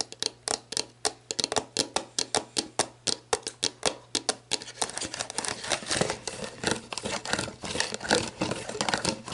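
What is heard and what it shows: Long black nails tap and scratch the base and label of a clear, hollow, mostly empty plastic sports drink bottle lying on its side. For the first few seconds, quick, crisp, bright taps land separately and stop sharply. They then blur into denser rustling scratches over a faint steady low hum.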